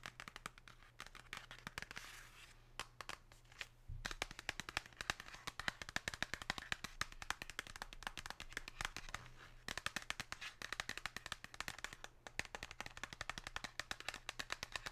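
Long pink acrylic nails tap and scratch across the glossy printed surface of a flat, thin cardboard box from a Lindt 99% dark chocolate bar, held in the hand. Rapid, dense, crisp clicks and brighter scratchy rasps run continuously, with a faint low hum underneath.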